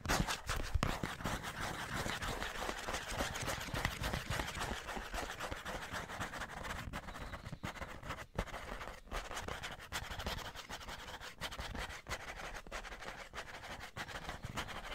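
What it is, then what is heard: Cardboard tissue box. Fingernails scratch and rub the side of a hollow cardboard Scotties tissue box held upright. The result is a continuous dry, papery rasp with a hollow low thump underneath and quick irregular scraping strokes that stay fairly steady in level.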